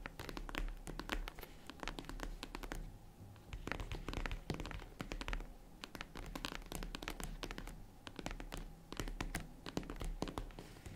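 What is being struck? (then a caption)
Small zippered faux-leather jewelry case. Long nails tap and scratch the top of a small, hollow, closed tan faux-leather zippered jewelry case while the other hand taps its side. Dense, quick, dry taps and scratchy strokes come in bursts with brief pauses, and each hit sounds soft and hollow with almost no ring.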